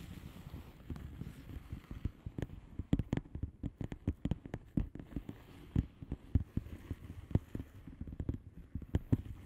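Long manicured nails of both hands tap and scratch a flat blue plastic bubble wrap mailer envelope with air-filled bubbles. Quick, irregular, sharp clicking taps land over a soft, low, rustling scratch. The sound stays dull and bassy, with each tap dying away almost at once.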